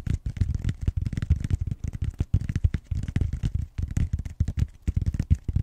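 Fingertips and short nails scratch the rim of the flat round end of a purple styrofoam roller with bead-textured foam. The result is a fast, dense run of short, dry scratching bursts with a dull, low, thumpy body and only faint brighter hiss. Each scrape stops abruptly with almost no ring.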